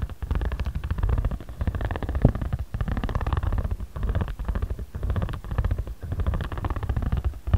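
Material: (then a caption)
Paper. A ridged jade roller head is rolled and rubbed back and forth over a flat, patterned origami paper pad held down by fingertips. It makes a low, rumbling, grainy rolling texture made of rapid ridged ticks, with almost all of its energy in the deep lows. Brief dips mark each change of stroke direction.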